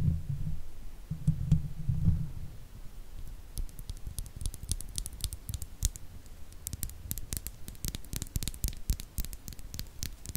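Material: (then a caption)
Steel mesh. Long fake nails on both hands, wrapped around the hollow steel mesh grille of a silver Blue Yeti microphone, scratch and tap across the metal. The first two seconds carry a low, muffled rumble of contact. Then come dense, rapid bright scratches and clicks, each dying away almost instantly.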